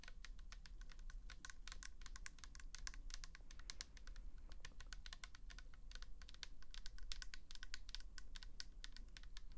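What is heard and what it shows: Long acrylic nails rapidly tap and scratch a tall pink plastic L'Oréal toner bottle, hollow and filled with liquid, with a paper label. The result is a dense stream of quick, crisp, bright clicks with very short decay, over a steady low hum.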